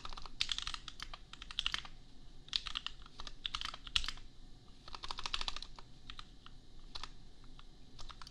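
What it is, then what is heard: Plastic mechanical keyboard. Fingertips of both hands type on a compact $250 custom mechanical keyboard with Gateron Milky Yellow switches and red and pink plastic keycaps. Quick bright, clacky keystrokes come in bursts with short pauses, each clicking off almost instantly over a faint low rumble.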